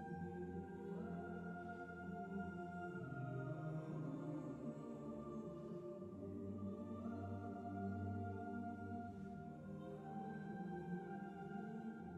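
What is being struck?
Nothing is struck.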